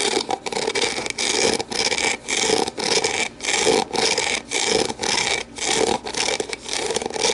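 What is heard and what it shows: Long nails rub and scrape the base and walls of an empty, hollow, translucent plastic deli container held tilted. Steady strokes of bright, raspy scratching come in quick succession, separated by brief dips. A hollow mid-range resonance runs beneath them.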